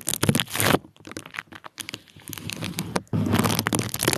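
A small sleeve of clear plastic bubble wrap, wrapped over the microphone and held in one hand, is squeezed and crinkled with the fingers. Dense, loud crinkling and crackling bursts open the clip, thin out into quieter scattered crackles in the middle, then return as a sustained loud crinkle to the end.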